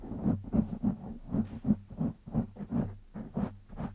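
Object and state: Foam microphone windscreen being scratched.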